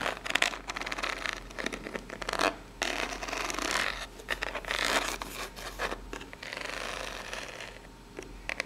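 Long pink nails scratch along the ribs of a small, hollow, brown corrugated cardboard box held in the hands. The result is close, bright, dry rasping: quick scratchy strokes alternate with longer grating drags, separated by brief pauses.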